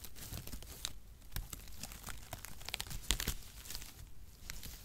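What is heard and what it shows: A clump of light, hollow-mesh brown cut cardboard packaging shreds is crumpled and rubbed between the hands close to the microphone. It makes a steady, dry crinkling and rustling texture with bright, sharp crackles and tearing snaps throughout. The loudest pops come near the three-second mark before it settles back into soft scratching.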